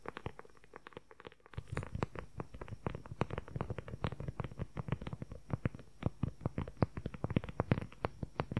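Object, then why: Leather journal cover. A closed dark brown leather journal cover with a flap and snap button is tapped and scratched rapidly with fingertips and nails close to the microphone. Dense, quick, dry taps and scratchy clicks run throughout, each dying away almost instantly. A low background hum steps up in level after the first second and a half.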